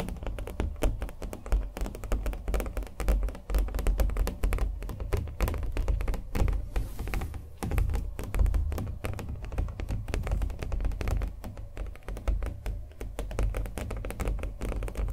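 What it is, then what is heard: Painted stretched canvas, tapped. Fingernails tap rapidly and steadily across the painted surface of a small acrylic-painted canvas stretched on a wooden stretcher frame, held in both hands. Each tap is a short, hollow, low thunk that dies away almost instantly, with little brightness. The taps run continuously in dense clusters throughout.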